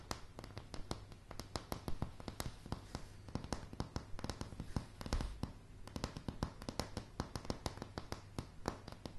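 Long polished nails of both hands tap rapidly on a solid, light wooden plank floor, making about fifty quick, sharp clicks with almost no ring. The clicks flick from deep up to bright over a steady low hum, in an uneven, fast pattern.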